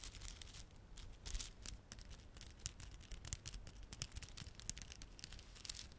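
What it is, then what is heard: Plastic beaded garland. A small clump of plastic garland, glossy dark blue and silver solid plastic beads with red spiky plastic fringe, is held in both palms while the fingertips rub and squeeze it. This produces a steady, quiet stream of dense crinkling with many sharp, bright clicks scattered throughout. A faint low rumble sits underneath the whole clip.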